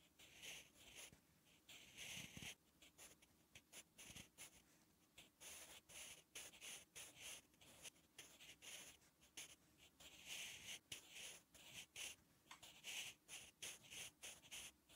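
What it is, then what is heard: Pencil writing on a paper notebook page. A sharpened wooden graphite pencil is drawn across a flat, thin lined page of a spiral notebook while writing Korean letters. Quiet, bright, scratchy strokes come in quick bursts with short pauses between them, with almost no low end.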